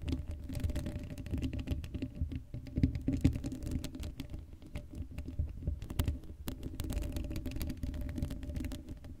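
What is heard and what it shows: Long blue acrylic nails on both hands scratch across the hollow black woven metal mesh grille of a Blue Yeti microphone head with no foam cover. The result is a dense, continuous patter of fast scratchy ticks carried mostly as a deep, boomy low rumble, with a faint hum and very little bright content.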